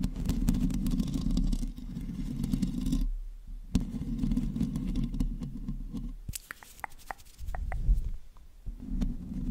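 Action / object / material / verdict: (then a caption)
scrape / metal mesh microphone grille / metal mesh / none. Long natural nails and fingertips scratch and rub the uncovered hollow metal mesh head of a hand-sized black USB microphone, first with both hands and then with one. The close-up contact makes a dense, deep, rumbling scrape that is heavy in the low end, with short quiet gaps and scattered sharp ticks and taps.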